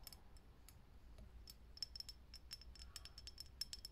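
Long nails tap quickly on a lit, hollow, clear glass vintage filament light bulb, producing a rapid, irregular series of short, bright clicks with a high glassy ring. Each tap stops almost instantly over a quiet, steady low rumble.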